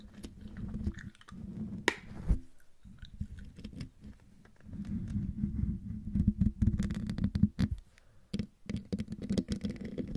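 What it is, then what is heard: Metal mesh microphone grille. Long dark-painted fingernails of both hands scratch the hollow domed metal mesh grille of a silver Blue Yeti microphone. The result is a dense, low rumbling scrape with a steady hum-like band, broken by brief bright clicks and short pauses.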